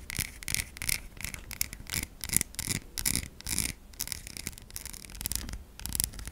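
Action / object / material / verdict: scrape / bar of soap scratched with fingernails / soap / none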